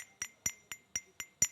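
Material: Glass.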